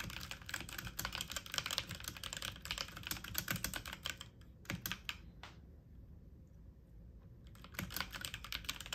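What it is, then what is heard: Plastic mechanical computer keyboard. Fast typing on a full-size backlit mechanical computer keyboard with plastic keycaps, the keys pressed with fingertips and medium nails. It produces a dense stream of bright, sharp clicky taps with very short decay. The typing breaks into a few scattered taps and a quiet pause midway, then resumes at speed near the end.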